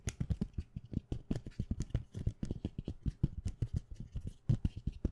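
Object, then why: Thin plastic plate with plastic sticky bookmarks. A thin clear plastic plate holding rainbow plastic sticky bookmarks is held in the hand and tapped quickly with fingertips and nails. The result is a rapid, continuous patter of short, dry clicks with no ring.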